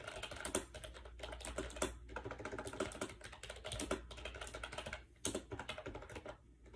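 Fingertips rapidly type on a compact gray plastic AJAZZ 308i wireless Bluetooth keyboard with round keycaps and a hollow shell, resting on a bed. The result is a quick, continuous run of light, hollow plastic clicks and taps with short, dry decays over a faint steady low hum.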